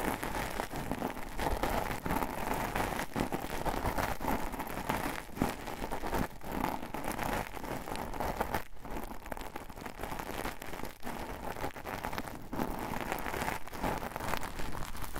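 Long decorated acrylic nails scratch and rub the fuzzy surface of a thin, flexible sheet of green felt fabric held curved in both hands. The result is a steady, dense, crackly rustle that stays at an even level throughout, with a few brief dips.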